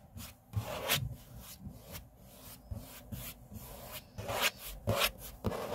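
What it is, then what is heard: Laminate tabletop being rubbed and scratched. Fingertips and index fingers rub and scrape across a large, flat, solid grey laminate tabletop. The result is a series of irregular, dry swishing strokes with bright, breathy scraping highs over a faint low rumble, with a few louder, sharper scrapes standing out.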